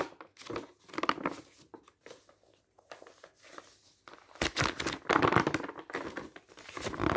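Fingertips lift and turn the dark printed glossy paper pages of a large open catalogue one by one, rustling and crinkling the paper. Dense, bright crinkles and crackles come in bursts, with a quieter stretch in the middle before louder, fuller rustling returns for the last few seconds.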